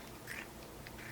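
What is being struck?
Nothing is struck.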